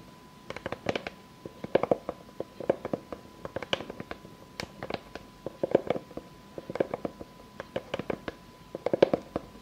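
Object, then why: Round pine wooden board. Long fake nails tap and scratch the surface of a solid, round board of light unfinished pine with knots, lying flat. Quick bursts of dry, clicky taps come in clusters with almost no ring, carrying a woody tone around 500 Hz. Soft scratchy textures sit between the bursts, with a faint steady hum underneath.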